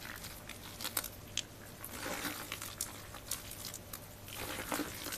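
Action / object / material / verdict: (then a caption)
scrape / soaked crumbled bar soap / soap / none. A large heap of soaked, crumbled white and blue bar soap fills a black bucket, and its solid wet chunks are kneaded, crushed and rubbed between bare soapy hands. The result is quiet, mushy squelching with bright, crisp crunches and sharp clicks scattered through it. A faint low hum runs underneath.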